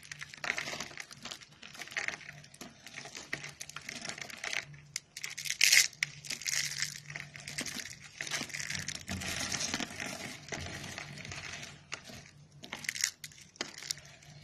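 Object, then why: Soap curls and flakes. Fingertips press, crumble and rub brittle pink dry soap curls and flakes into a pile on a white surface. The result is a steady stream of dry, crisp crunching and crinkling, bright and high-pitched, with a few sharper snaps standing out.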